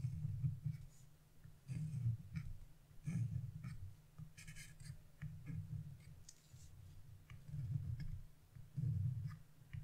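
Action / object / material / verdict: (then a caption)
scrape / scratch-art coated paper sheet / coated paper / none. A narrow chisel tip scratches stripes into leaf shapes on a black-coated scratch-off paper page resting on a table. Repeated soft, low scraping strokes come in short bursts, with faint bright ticks and brief pauses between them.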